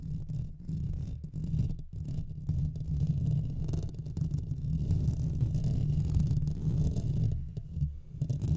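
Fingernails quickly scratch both sides of the hollow metal mesh grille of a Blue Yeti microphone. The result is a dense, continuous low rumbling scrape centered around 150 Hz, with almost no high content and only brief dips in level.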